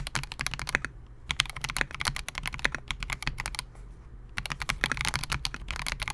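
Fingertips of both hands type continuously on a Melgeek MOJO68, a compact 68-key mechanical keyboard with Gateron G Silver Pro switches, a clear polycarbonate case and SA-profile plastic keycaps, resting on a desk mat. Rapid, crisp clacks with bright high clicks centered around 3.3 kHz and a soft low thock beneath each press. The typing comes in dense bursts, with brief slower lulls near the one-second and four-second marks.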